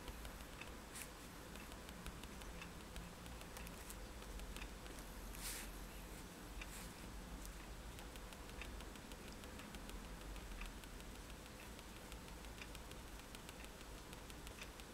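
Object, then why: Paper sheet tapped with a pen tip. A fineliner pen tip is tapped rapidly on a flat sheet of white drawing paper resting on a table to make dots. It produces a quiet, continuous patter of soft, bright ticks over a steady low hum.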